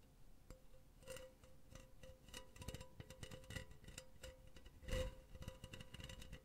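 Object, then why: Metal mesh pen holder. Long nails scratch and tap the surface of a hollow, empty silver metal mesh pen holder held in both hands. Quiet, rapid ticking taps and raspy scratches come with a faint steady metallic ring around 516 Hz. A louder, brighter cluster of taps lands near the five-second mark.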